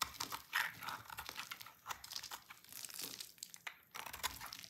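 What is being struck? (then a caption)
Bar of soap cut with a knife. A solid, dry, pink oval bar of soap held in the hand is shaved with a yellow-handled utility knife into crunchy flakes. Quiet, bright, crackly scraping and crunching sounds come in quick, dry bursts with almost no low end and no ringing.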